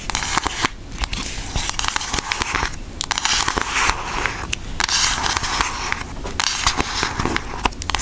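Long acrylic nails tap and scratch the front of a pink Aristocats cardboard eyeshadow palette held up in the air. The result is a dense, crackly stream of sharp clicks and dry scratching with a bright, papery edge. Each tap cuts off almost instantly.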